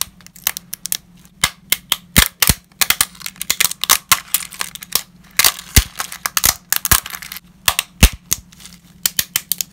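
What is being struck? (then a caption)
Uncooked lasagna pasta sheets. Whole, uncooked, ridged lasagna sheets are held in gloved hands and snapped into pieces over broken fragments. A rapid, irregular run of sharp, dry, bright cracks with almost no ring sits over a faint steady low hum.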